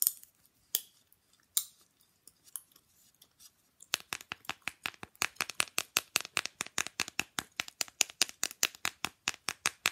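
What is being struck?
Small rigid printed fridge magnet.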